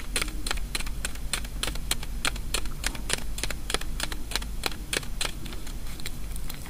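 Long fingernails tap and scratch the surface of one small white hollow wafer ball, a kamifusen sweet filled with jelly, held in the fingers. A fast, steady run of short, crisp, bright clicks rises over a constant low hum, each tap dying away almost instantly.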